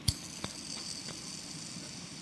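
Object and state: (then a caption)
Wet ball bearing, short spin. A metal yoyo ball bearing, just cleaned with lighter fluid and still wet inside, is flicked twice with a finger, giving two sharp ticks followed by a faint, brief whirring hiss. With fluid still inside, the balls spin only in short bursts, so the spin sound dies quickly.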